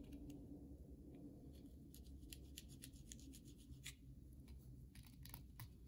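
Long nails scratch along the surface of a solid white bar of soap held in the hand, making quiet, dry scratching strokes. Short bright scrapes flicker over a steady low hum that stays fairly even throughout.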